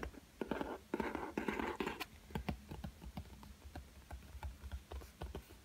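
Fingertips tap on the black hard cardboard cover of a spiral-bound sketchbook, lying flat on a table with a solid block of paper underneath. The clip opens with a stretch of dense, scratchy brushing across the cover, then moves into quick, uneven, dull taps with low thumps and a short ring.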